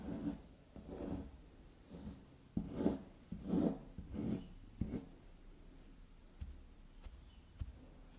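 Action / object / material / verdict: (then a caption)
scrape / carved bar of soap / soap / none. A small, solid black soap carved into a unicorn-like shape stands on a fabric surface and is lightly tapped and scratched with long black nails. Soft, muffled scratching swells alternate with a few sharp, dry taps, all quiet and low-pitched with little ring. The sound thins out toward the end to sparse, faint clicks.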